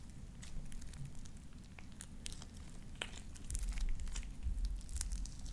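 A handful of soft, sticky light-blue slime with small white beads is stretched, squeezed and popped between both hands using fingertips and long dark-painted nails. Wet squelching sits over a low, steady rumble, broken by irregular sharp, bright pops and crackles that grow louder toward the end.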